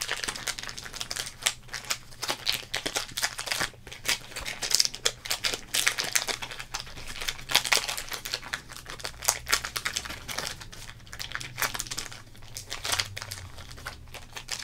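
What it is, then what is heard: Plastic trading card pack wrapper. A sealed Topps baseball card pack, hand-sized and full of cards, in a thin, printed, crinkly plastic wrapper is squeezed and crinkled by fingertips. The result is a dense run of bright, crackling crinkles with sharp, short snaps, nearly all high-pitched, and a faint low hum underneath.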